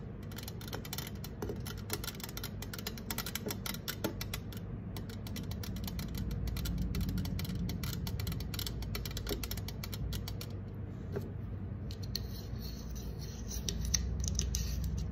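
Long acrylic nails scratch and tap rapidly along the side of a green 355 mL aluminum soda can, making a dense, irregular stream of sharp, bright clicks and scrapes over a steady low rumble. Near the end the can is tilted up to expose its bottom, and the tapping grows slightly louder and brighter.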